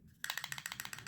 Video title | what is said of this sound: OZARK TRAIL KNIFE REVIEW | there's a little rattle if you shake this really fast and hard